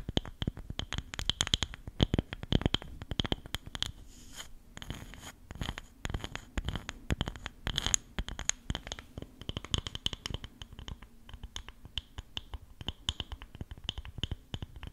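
A small, flat, round woven rattan coaster with concentric rings is held close to the microphone and scratched and tapped with long acrylic nails. Dense, rapid, dry scratches and crisp clicks run throughout, with a bright upper edge and a soft low thump under each stroke, and no ringing after each touch. The texture stays busy and fairly even, with a brief sparser patch near the middle.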